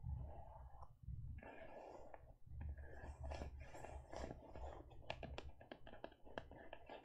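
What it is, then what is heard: Faux leather e-reader case. Long nails tap and scratch a closed teal faux leather e-reader cover and its edge. Soft, quiet scratching and brushing over a low rumble gives way to a run of sharp, bright taps toward the end.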